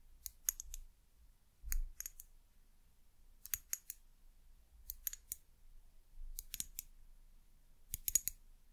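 Long nails tap and scratch a small amber glass bottle with a white cap, striking the bare glass on the side turned away from the label. Six quick bursts of bright, sharp clicks die away almost instantly, with a faint low rumble between them.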